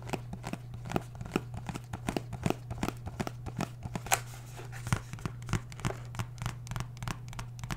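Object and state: Cardboard box.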